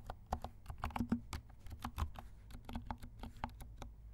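Fingertips of both hands type steadily on a compact black mechanical keyboard with silent switches and black and pink plastic keycaps. The quick run of soft, muted keystrokes has a low thocky body and a faint bright tick, each dying away almost instantly over a steady low background hum.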